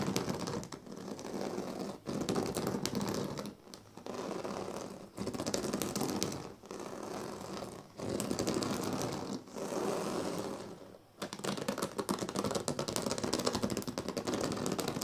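Fingernails rapidly scratch and flick the thin dyed reed strands of a large, flat woven reed sleeping mat. The result is a dense, continuous crackling scratch, strongest in the low-mid range with a light bright edge, coming in bursts separated by brief pauses.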